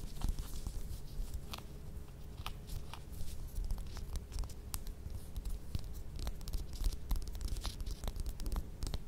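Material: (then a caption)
Orange peel. Long red nails scratch and tap the peel of a small whole orange held in the hands. The result is a dense, quiet run of short, dry scratches and crisp clicks over a low rumble, with no ringing.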